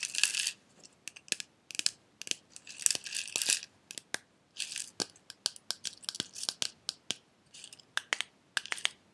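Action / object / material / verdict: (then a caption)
tap / small glass jar with metal screw lid and loose contents / glass / none. A small clear glass jar with a silver metal screw lid and loose red pieces inside is turned in the hands, tapped with fingernails and shaken. Sharp, bright clicks alternate with short bursts of rattling as the contents shift inside. The sound is crisp and high-pitched with almost no low end, and each tap dies away instantly.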